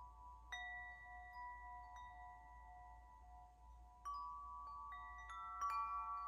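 A hollow metal tube wind chime, held by its string in front of the face, is gently shaken. Its tubes ring out in clear, sustained bell-like tones centered around 1.1 kHz, with bright overtones. Fresh strikes layer new notes over the lingering ring against a quiet low hum.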